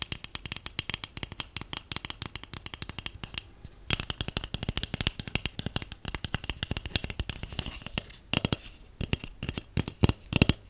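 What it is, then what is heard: Cardboard tube tapped with fingernails. A hollow, empty white cardboard tube (a paper towel roll core) is held in the hands and tapped and scratched with long painted acrylic nails and natural nails. Dense runs of quick, dry taps with a low hollow thump and bright clicky edges are mixed with scratchy rustling, and the taps die away almost instantly.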